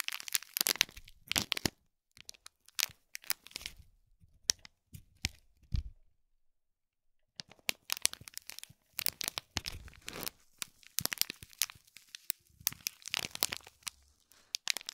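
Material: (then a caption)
Foil, plastic film. Fingertips and nails scratch and crinkle the top of a small gold foil-wrapped gift box in plastic film, up close. Bright, crackly crinkling comes in dense bursts with a silent gap around six to seven seconds, then continues more thickly to the end.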